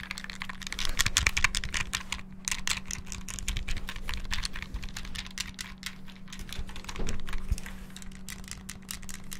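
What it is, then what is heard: Plastic handheld game console buttons. Fingertips rapidly tap and press the D-pad and buttons of a small, hollow, clear transparent plastic Game Boy handheld close to the mic. Fast, irregular bursts of bright plastic clicks pile on each other over a steady low hum around 200 Hz, with slightly louder flurries near the start and around seven seconds.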